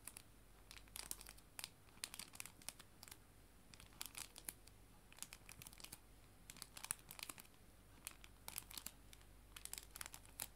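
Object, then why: Clear plastic cellophane sleeve. A clear plastic cello bag, a sleeve holding paper art prints, is crinkled with fingers and nails. Quiet, sharp, bright crackles come in irregular bursts over a low steady hum, each dying away almost instantly.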